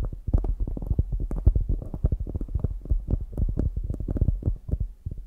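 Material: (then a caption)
Polyurethane foam. Long grey nails scratch and tap the top and sides of a palm-sized solid polyurethane foam squishy donut. The result is a rapid stream of soft, muffled thumps that sound deep and dull, with almost no brightness and each tap dying away almost instantly.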